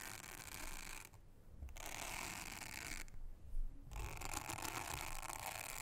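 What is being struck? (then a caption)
Silicone honeycomb trivet mat. A soft toothbrush brushes across a thin, solid, round blue silicone honeycomb trivet mat, making a steady, bristly scratching hiss with low rumble beneath. The bright brushing texture drops out twice in short pauses before resuming.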